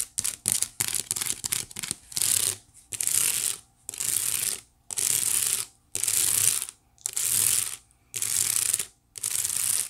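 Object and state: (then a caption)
Wicker basket being scratched. Long nails scratch across the woven ridges of a white wicker basket, giving a bright, ratchet-like rasp. A quick run of short scratches comes first, then about eight longer, steady strokes separated by brief pauses.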